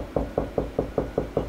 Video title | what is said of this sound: Installing Wall Mount TV Made Easy/DIY for Beginners | lower Hollow pitch means there's nothing there